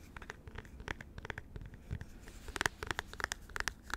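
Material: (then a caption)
Plastic. Fingernails scratch and tap the smooth top surface of a small white plastic computer mouse with a hollow shell, held in the hands. Soft, dry scratching runs under a rapid series of short, sharp clicky taps with a bright, hollow plastic tone and almost no ring. The taps grow louder and more frequent in the second half.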